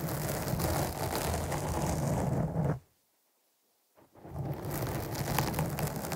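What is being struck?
Foam microphone windscreen.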